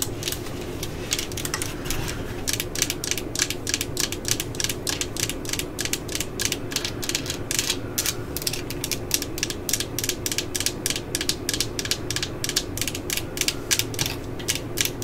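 A hollow cordless drill body with a yellow plastic housing and a black collar is tapped with long nails. Dozens of quick, bright, clicky taps patter over the full clip, with a steady low rumble underneath and each tap dying away almost at once.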